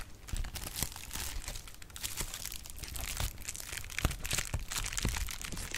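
A sheet of clear plastic bubble wrap is crinkled and its bubbles are popped with fingers. Steady, bright crackling and crinkling runs throughout, broken by many sharp, short pops with a dull low thump beneath them.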